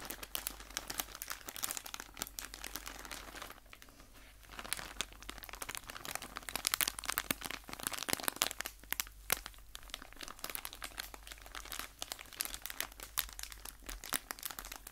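A hand-sized soft plastic packaging bag full of cotton makeup-remover pads is held close to the microphone while fingertips squeeze and rub it. The result is a steady, bright crinkling and crackling with many quick, sharp rustles. There is a brief quieter stretch near four seconds.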